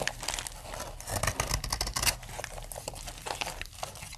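A utility knife blade shaves powdery curls from the edge of a solid pink dry soap bar, making a dense run of dry, crisp scraping and crackling with bright highs and a low rumble underneath. The bar is then held up with its smoothed face showing.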